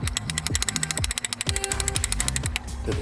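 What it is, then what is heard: Idle control valve freed up, rattling normally. A metal idle control valve, removed from a BMW M54 engine, is shaken by hand after being cleaned with mass airflow sensor cleaner to free it from being stuck open. It makes a rapid, bright ratcheting, clicking rattle over a low rumble. The rattle shows the valve is freed up and working again.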